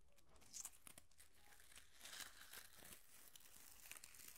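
A small tangle of pink plastic curling ribbon is held in both hands while the fingertips and nails rub and crinkle the strands. Quiet, dry crinkling and crackling is heard, with short bright bursts over a steady low background.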